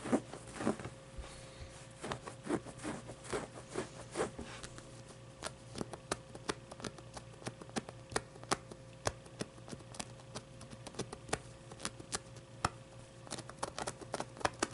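Long painted nails scratch and tap the fabric face and fuzzy pit of a medium, soft stuffed avocado plushie. A quick stream of soft, dry taps and scrapes sounds over a low steady hum, and each sharp tick dies away at once.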